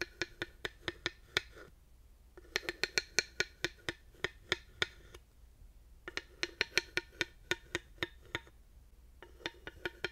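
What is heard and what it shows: A thin wooden dowel, held upright, taps down onto the ridges of a solid, grooved wooden panel in four bursts of quick, dry clicks with short pauses between. Each tap is a sharp, bright knock with a woody pitch around 2.3 kHz and almost no ring.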